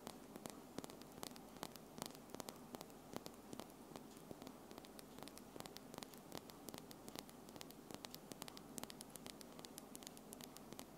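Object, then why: Acrylic false nails. Long pink-and-white acrylic false nails with small solid tips on one hand tap fast against the nails of the other hand, held in front of the recorder, while gold rings on the hand are worn but not struck. Quick, sharp, dry clicks come in a rapid, uneven stream over a steady low hum and faint hiss.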